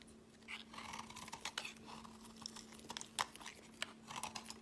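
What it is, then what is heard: Bar soap carved with a blade. A utility knife blade scrapes and carves flakes off a solid, palm-sized teal speckled bar of soap held in the hand. It makes a rapid, uneven series of short, crisp, bright scratching and clicking bursts. A faint steady low hum runs underneath throughout.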